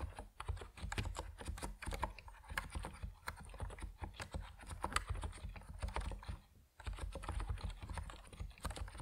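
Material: Plastic.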